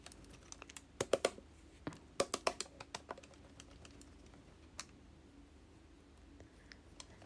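A Yumbox Panino plastic bento-style lunchbox with a silicone lid, filled with yogurt, is shaken hard as a leak test, producing bursts of sharp, quick clattering knocks, with a lone knock near 4.8 seconds before it goes mostly quiet. The box proves leakproof: no leaks appear on the sides, and the yogurt stays intact in its one compartment.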